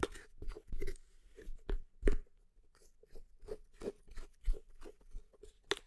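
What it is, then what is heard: Plastic tub tapped and scratched. Long nails tap and scratch the lid and side of a medium, hollow red plastic creatine tub with a white lid, held against the palm close to the microphone. The result is a run of quick, crunchy, close-up taps with a dull, low hollow knock, each dying away almost at once, with faint scratching in between.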